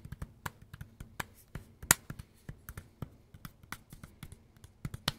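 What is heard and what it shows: Fingertips and nails tap rhythmically on a dark green and black Makita power tool battery pack with a plastic housing, held flat and then upright. The result is a quick series of dry, hollow clicks and taps with bright, crisp edges and almost no ring, over a faint low hum.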